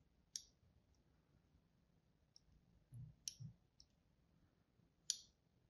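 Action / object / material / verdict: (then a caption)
scrape / bar of soap scratched with a metal tool / soap / none. A thin metal tool, held by a hand with long pink nails, scratches and scores lines into a solid, palm-sized white soap bar held in one hand. Three sharp, bright clicks stand out over a quiet background, with fainter ticks and a couple of soft, low muffled bumps between them. Each click is short and dies away almost at once.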